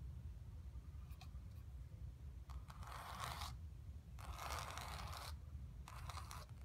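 Long pink-painted nails scratch and tap a square, acrylic-painted stretched canvas with red, purple and orange blocks and black lines, lying flat on carpet, its taut fabric over a hollow frame. A few faint taps come first, then bursts of dry, bright scratching rasp across the surface. A steady low hum runs underneath throughout.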